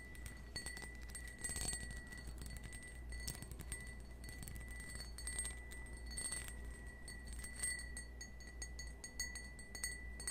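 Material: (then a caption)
Crystal glass. A small, empty, hollow cut-crystal stemmed wine glass, held in the hand, is tapped repeatedly with fingernails. The taps give quick, bright glassy clinks with short ringing tones over a steady low hum.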